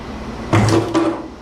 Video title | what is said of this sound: Massive Shop Scrap out Pt. 1 | Yeah, that sounds like plastic.